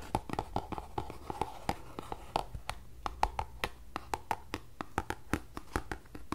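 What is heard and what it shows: Fingertips and long nails tap and scratch the faces and edges of a small closed green paperboard tea box held close to the mic. Around thirty short, dry taps follow in an uneven rhythm, each with a hollow papery tone near 850 Hz and almost no ring, over a faint steady low hum.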